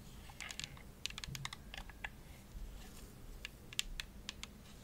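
Long nails tap the shell of a hollow, purple glossy plastic Xbox controller held up in front of the face. A quiet, irregular run of quick, bright clicks, each dying almost instantly, sits over a low steady rumble.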